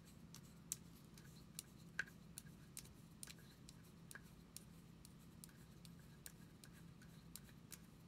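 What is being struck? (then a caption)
Plastic deodorant stick. A small cylindrical plastic deodorant stick with a white cap and a hollow shell is held in both hands and tapped and scratched with long acrylic nails. Short, bright clicks land at irregular intervals with no ring, while a quiet scratching texture and a steady low hum continue underneath.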